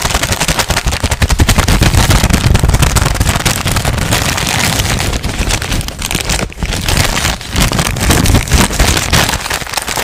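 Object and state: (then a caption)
Crumpled paper sheet. A thin, crumpled white paper sheet is squeezed and crinkled with the fingertips close to the microphone. It makes a dense, fast, irregular crackling that runs for about ten seconds, with a heavy low rumble under bright, crisp crinkles. The crackling stays loud throughout, with only a brief dip around six and a half seconds.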